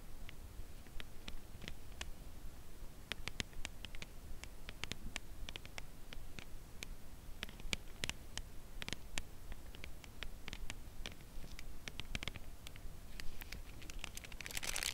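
A closed Lindt Caramel chocolate bar in its cardboard sleeve, held on edge in both hands, is slowly tapped with long press-on nails on its front face and edges. Short, dry, bright clicks land at an uneven, unhurried pace over a quiet low rumble. A denser, brighter scratchy burst comes right at the end.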